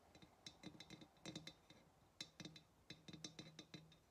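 Long nails tap the rim and neck of a hollow ceramic pottery vase in quick, uneven bursts. Each tap is a short, bright click with a faint high ring and a low hollow undertone, decaying almost instantly. The tapping is quiet and irregular, with brief pauses between clusters.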